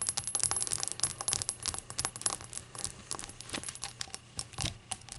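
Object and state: Glazed ceramic shot glass.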